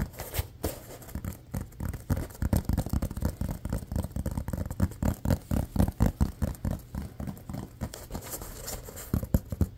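A small silver-grey rubber toy football with a pebbled surface and a green stripe, held in both hands, is tapped and scratched fast with fingertips and nails. The result is a rapid, uneven stream of dull, low, thumpy taps that die away almost instantly, with faint scratchy rustle between them and very little brightness.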